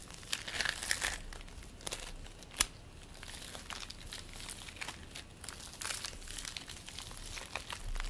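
Fingers squeeze and pull purple play foam made of polystyrene beads, producing a steady, bright crinkling crackle. Dense clusters of small pops come and go across the clip, with one sharper snap standing out partway through.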